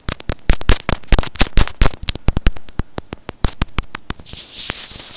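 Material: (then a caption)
Plastic. A small, hollow white plastic earphone inline microphone housing is rubbed and tapped with fingertips and short nails. A rapid, irregular run of sharp clicks and low, boomy thumps follows, then a softer, hissy scratching at the end.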